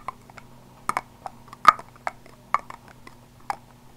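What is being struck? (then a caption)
Small plastic body spray bottle. Fingertips and nails tap along the sides of a small purple body spray bottle, likely plastic, probably hollow and partly filled, held in one hand near the microphone. The result is an irregular series of short, dry, hollow clicks centered around 1.2 kHz, each dying away almost instantly, over a faint steady low hum.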